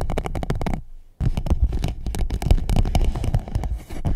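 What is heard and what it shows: An empty clear PVC pouch wrapped around the microphone is scratched and rubbed with long nails and fingertips. The result is a dense run of close, crinkly scratches and rubs with a heavy low rumble, broken by a brief silent pause just before the one-second mark.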